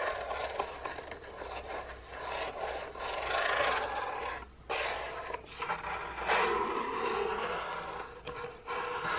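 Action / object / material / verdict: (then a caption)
scrape / cardboard biscuit box / cardboard / none. Long painted nails rub and scratch along the side of an unwrapped, printed cardboard biscuit box, which is long and hollow. The result is a continuous dry, raspy scraping with a midrange hiss, broken by brief pauses before the strokes resume.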